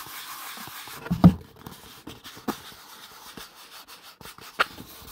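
A hollow kraft cardboard box held above the mic is tapped with the fingertips, giving soft, dull, low thuds that die away almost at once. The taps come at irregular moments over a faint steady hiss, with one stronger knock near the start.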